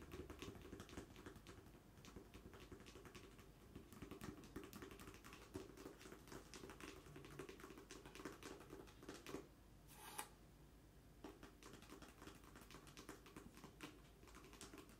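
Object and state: Cardboard mailer box.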